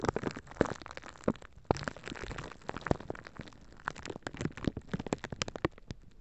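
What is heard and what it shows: A small, clear, empty plastic zip-lock bag is held over the top of a microphone and squeezed and crinkled with the fingertips and nails. Dense, close crackling fills the clip with sharp, dry snaps and pops that reach up into bright tones. Each snap dies away almost instantly, and the bursts come in irregular clusters.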